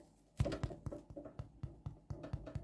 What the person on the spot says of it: if you tap it / you hear that kind of hollow thing